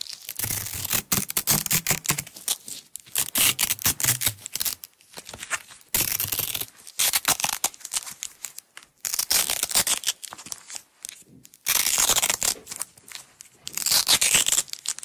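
Long nails pull and peel apart a strip and roll of blue nylon hook-and-loop (velcro) tape. Repeated bursts of bright, crackling ripping sound come with each peel, separated by short quiet pauses. The sound is dense in the high range with almost no low end.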